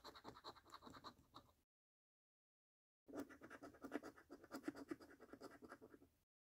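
A coin scratches the scratch-off coating of a thin, flat paper £1 Million Snack Stack National Lottery scratch card held in one hand. Two bursts of rapid, rasping strokes play out with a gritty midrange tone and a bright hiss, separated by about a second and a half of silence. The second burst is longer and slightly louder.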